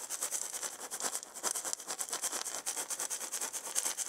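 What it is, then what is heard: Wooden maraca. A maraca with a wooden handle and a hollow ball is gripped while long painted nails and fingertips rub the handle and the maraca is shaken slightly. The result is a quick, uneven run of soft, bright, hissy scratches and light rattles with almost no low end.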